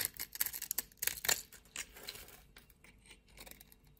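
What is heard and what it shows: A utility knife blade scrapes small cubes off a scored, solid green soap bar held in hands with long nails. About ten crisp, bright scraping crunches come in quick succession in the first two seconds, then fade to softer, sparser scratches.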